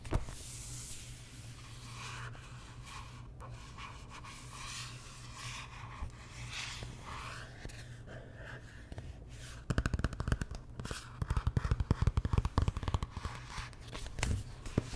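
Long nails rub and scratch the cover of a large glossy paperback art book held upright. For the first nine or so seconds the rubbing is soft and steady over a low hum, then the scratching turns louder and busier, with quick, sharp strokes.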